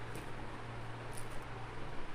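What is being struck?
Nothing is struck.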